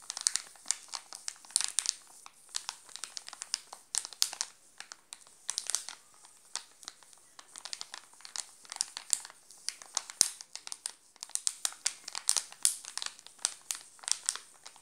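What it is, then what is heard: Plastic wrapper crinkled. Fingertips pinch and crinkle the glossy plastic wrapper of a sealed, full Alpino chocolate bar. Dense, bright crackling bursts come in rapid irregular clusters, each dying away almost instantly, with nothing in the low end.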